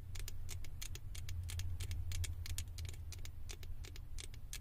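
Long acrylic nails scratch and tap rapidly on the ears and top of a small, hollow, blue plastic Stitch head fitted on a microphone. The result is a steady stream of short, bright, dry clicks and scrapes over a constant low hum.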